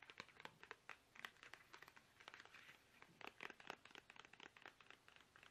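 A small, soft, hollow plastic toothpaste tube is held upright in both hands while fingertips tap it fast and unevenly. The taps are quick, light and dry, with crinkly plastic clicks that sound bright and thin with almost no low end, and each one dies away at once.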